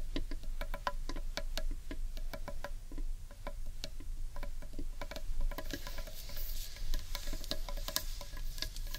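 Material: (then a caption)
Wood. Long painted nails tap rapidly on the underside of a large, hollow, carved wooden bowl. The result is a quick, irregular patter of short, dry clicks with almost no ring, over a steady low hum.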